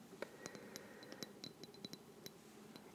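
Long dark-painted fingernails tap and scratch a small, clear glass Maison Louis Marie perfume bottle, partly filled with liquid, with a glass-look cap and a paper label, held in one hand. The result is a quiet, uneven series of short, bright glassy clinks that die away almost at once, with soft scratching and a faint tone around 560 Hz underneath.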